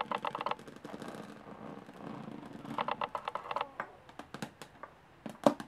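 Long polished nails scratch and tap on the diamond-textured top panel of a medium hollow aluminum carry case with metal latches. Quick bursts of bright, clicky taps give way to a steadier stretch of raspy scratching, then return. The clip ends with sparser, sharp taps that die away almost instantly, the last one louder than the rest.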